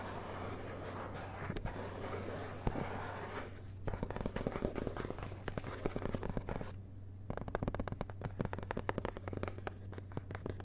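Fingertips tap and scratch on the blank paper endpages of an open hardcover book lying on carpet, beside the jacket flap. Soft, dull scratching in the first few seconds gives way to quick runs of light, close-set taps, all over a steady low hum.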